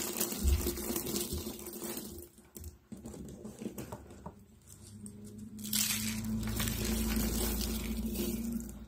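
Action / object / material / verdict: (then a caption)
scrape / rolled strips and flakes of soap / soap / none. Rolled strips and a pile of flakes of dry pink soap sheets are squeezed and crushed in both hands with long dark-blue nails. Dry, crisp crunching and crackling comes in dense bursts, then fades quieter for a couple of seconds before swelling into steady, louder crumbling through to the end.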